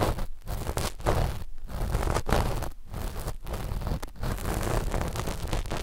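The cotton tips of two cotton swabs scratch a flat black knit fabric sheet laid over the microphones, right at the mic positions. The result is a dense, muffled rustling and scraping, heavy in low rumble with little high end, running almost continuously with a few brief dips in level.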